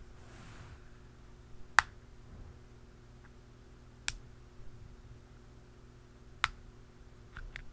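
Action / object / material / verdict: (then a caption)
tap / plastic aerosol can cap tapped with a pen / plastic / none. A hollow black plastic aerosol can cap is tapped on its rim and top with a dark pen and a blue plastic pen. Four sharp, bright clicks ring out, spaced by quiet pauses over a low steady hum, each dying away almost instantly.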